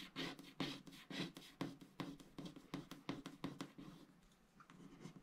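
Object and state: Wax-coated scratch art card being scratched.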